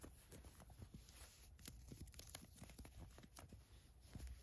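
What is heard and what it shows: Long acrylic nails and fingertips scratch and rub the elastic ribbed waistband and soft fabric of green cotton-blend fleece sweatpants lying flat on a fur rug. The result is a steady, quiet run of dry, scratchy rustles and short scraping strokes, mostly low and muffled, with faint bright flecks over the top.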